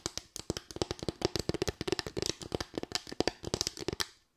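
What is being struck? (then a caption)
Small bamboo slatted board. Long white nails rapidly tap and scratch a small, light bamboo board of solid wood with raised slats, giving about 30 quick, dry clicks. Each click has a woody knock near 336 Hz with bright, crackly edges and no ring. The tapping runs steadily and stops abruptly at the end.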